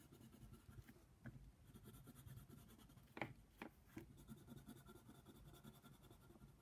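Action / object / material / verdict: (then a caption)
scrape / wooden colored pencil on a paper page / paper / none. A yellow wooden colored pencil is scratched over a flat paper coloring book page while coloring in a giraffe. Quiet, steady, low scratchy strokes run throughout, broken by a few sharper, brighter scrapes near the middle.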